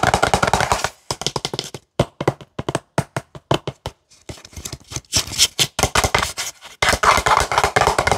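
A CeraVe plastic cleanser pump bottle is tapped with nails and fingertips on its body and pump. Quick, dry clicks and taps come in dense bursts, broken by short silences. The hollow plastic gives a brief, bright knock that fades almost at once.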